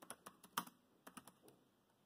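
Fingertips of both hands tap the keys of a dark grey plastic laptop keyboard while typing. Nine short, crisp clicks sound with a bright edge, and the loudest comes just past the half-second mark. Each click decays quickly into a quiet pause before the next.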